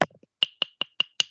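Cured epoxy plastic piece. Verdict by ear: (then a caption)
Solid. A piece of hardened, cured two-part epoxy (Part A resin plus Part B) is tapped six times, giving short, sharp, bright clicks with a brief ring near 3 kHz. The hard, plastic-like sound shows it has cured into a solid rather than remaining liquid resin.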